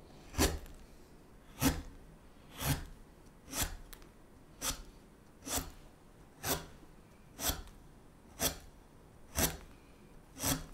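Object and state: Basswood spoon blank being carved.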